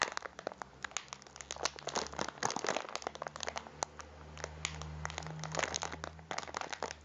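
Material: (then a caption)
Plastic. A full, cylindrical packet of biscuits in a crinkly plastic wrapper is rolled and crinkled between both hands with the fingertips. Dense, bright crackles and sharp crinkles come in quick bursts, over a faint steady low hum.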